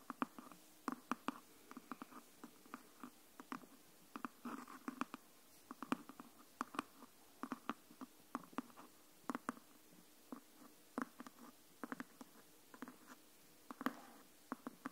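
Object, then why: Hardcover book. Long nails tap and scratch along the top edge of a closed green hardcover copy of Anne of Green Gables. Dozens of short, dry, quiet taps come in an irregular rhythm, each dying away almost at once, with soft scratching between them.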